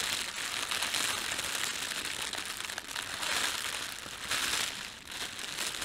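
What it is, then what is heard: Plastic bread bag being crumpled. Fingertips rub, pinch and crumple the film of an empty, thin red printed plastic bread bag. The result is a steady, bright, crackly crinkling with almost no low end, swelling louder in waves and dipping briefly near the end.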